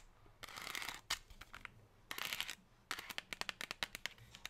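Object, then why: Thin metallized plastic tray tapped with fingernails. Long pink nails rapidly tap and scratch an empty silver metallized plastic chocolate tray with chevron ridges resting on a table. Bursts of bright, crinkly scratching alternate with quick, sharp, dry taps, mostly high-pitched with little low end.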